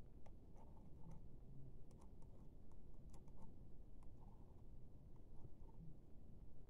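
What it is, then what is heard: Plastic laptop keyboard. The black plastic keys of a laptop keyboard are tapped and poked with the thin handle end of a silver pen-like tool. Soft, scattered clicks and ticks come through quietly over a steady low rumble, each one short and dry with little ring.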